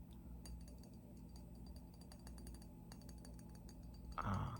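An empty, regular clear glass Crystal Head vodka bottle shaped like a skull, kept as a decoration, is tapped repeatedly. Light clinking taps sit over a steady low hum, with a louder burst near the end.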